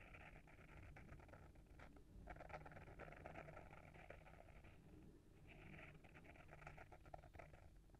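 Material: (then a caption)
Paper, board. Short fingernails scratch the front cover of a small, solid hardcover book with a paper-wrapped board cover, held in the hand. The result is a quiet, continuous, dry scratching with a papery rasp in the mid and upper-mid range over a soft low rumble, swelling and easing slightly as the strokes continue.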